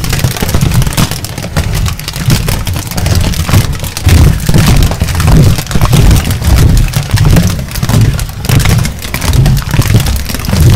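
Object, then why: Thin aluminium foil sheet. A thin, crinkled aluminium foil sheet is held over a microphone and rubbed and crinkled with the fingers. It makes a dense, continuous crackle of sharp, bright crinkles over a heavy, booming low rumble, swelling and easing in uneven waves throughout.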